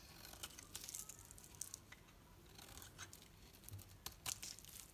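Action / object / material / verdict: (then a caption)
scrape / bar of soap carved with a metal knife / soap / none. A metal knife carves shavings from a painted bar soap, a solid green bar with a pink edge held in the hand. Quiet, bright scraping and crisp crackling come in short bursts, with a few sharper snaps toward the end.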